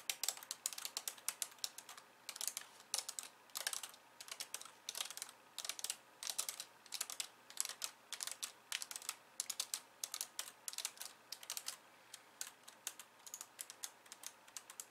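Long nails type on the plastic keys of a compact pink and white plastic computer keyboard, at times with only one hand. Quick, bright clicks come in bursts with short pauses, each dying away almost at once. Faint music may sit underneath.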